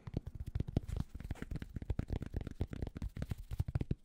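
Fingertips scratch quickly across the crown and brim of a grey cotton Penn State baseball cap. The result is a dense run of short, soft, muffled scratches and taps, mostly low and dull, with no lingering ring between strokes.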